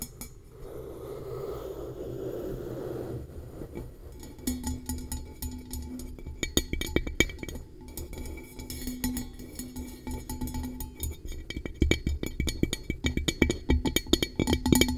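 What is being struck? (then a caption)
Metal tumbler. A tall, hollow, empty metal tumbler with a blue coating, held upside down over the mic, is tapped on its sides and base with long acrylic nails. The result is a stream of quick, dry clinking taps with short ringing tones, uneven in rhythm and growing louder and denser toward the end. A soft rustling lead-in comes before the tapping starts.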